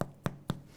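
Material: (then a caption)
Bread. A hand taps the bottom of a freshly baked ciabatta loaf four times, the last tap softer, each giving a short, dull, low thump that dies away almost at once. The hollow sound shows the loaf is baked all the way through.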